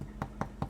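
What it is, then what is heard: Sourdough loaf, baked through (hollow). A sourdough loaf, baked for 40 minutes at 230 degrees in a fan oven, is tapped three times, giving short, dull, low thuds with little ring. It sounds hollow, so the loaf is done and goes onto a cooling tray.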